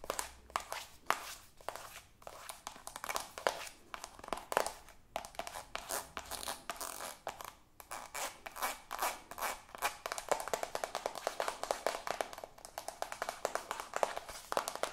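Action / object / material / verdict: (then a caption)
tap / soft plastic squeeze tube / soft plastic / none. A soft white squeezable plastic cosmetic tube, held in both hands, is tapped and scratched quickly with long acrylic nails. The result is a fast, steady stream of short, dry clicks and scratchy rustles, centered in the midrange and getting denser and sharper in the second half. There is almost no low end, and each tap dies away instantly.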